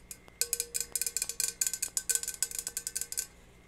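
Long red nails tap a tall, dark metal Starbucks travel tumbler with a feather print, held upright, hollow and likely empty. About nineteen quick, bright, high-pitched clicking taps come in an uneven rhythm, each fading almost at once with a faint metallic ring.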